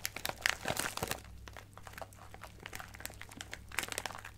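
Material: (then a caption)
Plastic. A clear plastic bag of sequins with a card header is squeezed and scratched with long nails, the sequins shifting inside. Dense, bright crinkling bursts in the first second give way to quieter scattered ticks and rustles, then swell again near the end, over a faint steady low hum.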